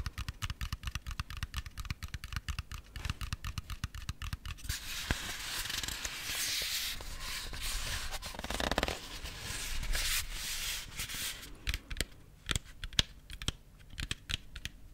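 A large, thick, solid ring-shaped MDF wooden letter O is held in one hand and tapped and scratched with fingernails. Rapid, dry fingernail taps with short, low knocks come first, then a steady bright scratching that runs for several seconds. The clip ends with scattered sharp taps.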